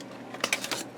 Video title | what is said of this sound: Antique Sound Labs Amplifier - A Dead End - BG036 | when I tap on them they're Hollow so they're not potted Transformers